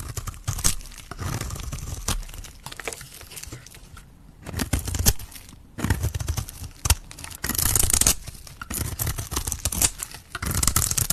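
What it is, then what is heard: Bar of soap being carved. A metal blade scrapes and carves the face of a hand-sized red solid soap bar held in the fingers, shaving off flakes. The result is a dense run of dry, crisp scraping and crackling with a heavy low thump and bright high hiss, broken by a couple of short quiet pauses.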